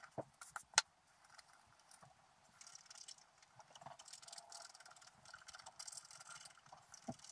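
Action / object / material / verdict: scrape / coated scratch-art paper sheet scratched with a wooden stylus / coated paper / none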